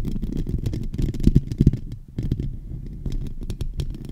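A fingertip and nail scratch across the dome of a silver microphone's hollow metal mesh grille. The result is a dense run of short, dry scratching strokes with a heavy low rumble, a faint bright hiss on the sharper strokes, and a brief lull about halfway through.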